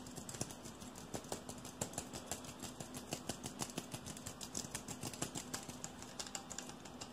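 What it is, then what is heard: Aluminium aerosol can, tapped and scratched. A hand-sized, hollow red aluminium aerosol deodorant can with a red plastic cap is tapped and scratched rapidly with fingertips and nails along the body and cap. Quick, irregular clicks and taps follow one another at about two per second, with short, bright metallic ticks over a steady scratchy hiss and a faint low hum.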